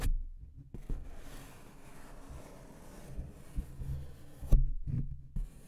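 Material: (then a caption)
Paper. A thin, flat brown paper envelope held in front of a microphone is scratched with fingertips and nails, producing a soft, low, muffled rustling and scraping. A few louder thumps stand out, the sharpest near the end.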